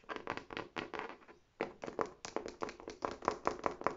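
Long nails scratch and rub the smooth front panel of a large, hollow red faux leather tote bag with an embossed tab. About twenty quick, irregular, dry scratching bursts sit mostly in the mid frequencies around 1 kHz, with a brief pause near the middle of the clip.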